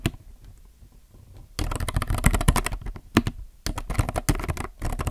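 Both hands type with their fingertips on a compact mechanical keyboard with plastic keycaps. After about a second and a half of quiet, dense bursts of short, sharp clacks come in irregular runs. Each keystroke carries a low thock and a bright click on top.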